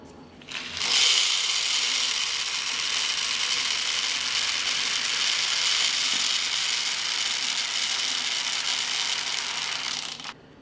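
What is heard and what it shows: A clean, dry glass jar filled with wheat grain is shaken so the grain settles before being kept as long-term grain storage. The grain makes a bright, dense, continuous rattle and hiss against the glass, rising quickly after a quiet start and holding steady for about nine seconds before stopping abruptly.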